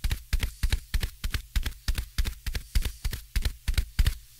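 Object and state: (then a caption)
Foam microphone windscreen. Fingertips tap repeatedly on top of a soft, porous black foam windscreen fitted over a microphone. Each tap lands as a dull, deep thump with almost no ring, repeating in a quick, slightly uneven rhythm of about three taps per second.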